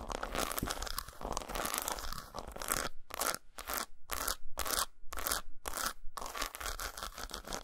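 Long nails scrape and tap the textured surface of an unwrapped solid dark chocolate bar resting on a towel. Dense, bright, crunchy scratching fills the first three seconds, then breaks into quick rhythmic bursts separated by short silences before returning to steadier scraping.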